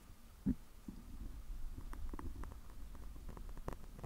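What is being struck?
Foam microphone windscreen.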